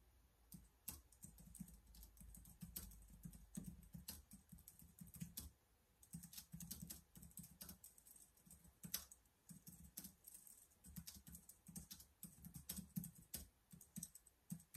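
Both hands type with their fingertips on a black plastic laptop keyboard, producing a steady, irregular stream of quiet, short, bright key clicks. A soft low rumble sits underneath the typing throughout.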